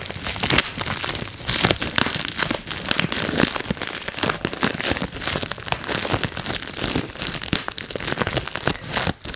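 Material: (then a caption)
Plastic. A clear, air-filled plastic bubble wrap sheet held over a lap is squeezed between fingertips and thumbs. It makes a dense, continuous run of sharp, bright pops mixed with crinkling plastic. The snaps come so close together that they blur into a crackling texture throughout.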